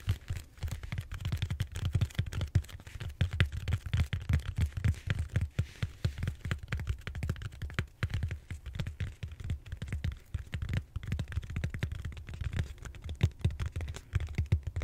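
Fingertips and short nails scratch and tap the textured surface of a large, solid purple foam back roller held horizontally. The result is a steady stream of quick, dull, low thuds and soft scratches with almost no ring and very little brightness.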